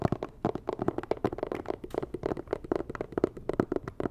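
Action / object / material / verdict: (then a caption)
tap / cardboard box / cardboard / none. Long nails tap and scratch a medium, hollow, rigid white and red cardboard box, producing a quick, uneven run of dull, hollow knocks centered in the low-mid range. Each hit dies away almost instantly, with soft scratchy rasps filling the gaps between them.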